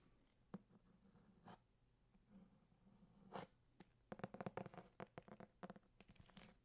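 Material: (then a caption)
Cardboard. Fingertips tap and scratch on the embossed cardboard cover of a thick hardcover copy of Grimm's Fairy Tales, held close to the mic. Quiet, dull, short taps with a low body are mixed with soft scratchy rustles. The taps are sparse at first, then come in a quicker cluster over the last few seconds.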